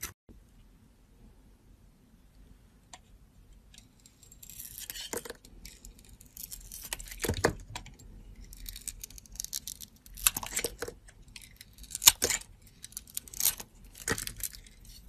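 A metal blade scrapes and cuts the copper glitter coating off a solid soap bar with a teal inside. Bright, crisp scratching and crackling strokes come in short bursts, with a few sharper snaps, over a faint low hum.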